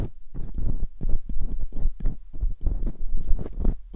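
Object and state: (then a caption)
Silicone ear mold scraped with a dental pick. Metal dental picks scrape inside the canals of the silicone ear molds on a binaural microphone. The result is a run of deep, muffled, close-up rubbing and thumping strokes that come in quick, uneven bursts, with almost all the energy low and nothing bright.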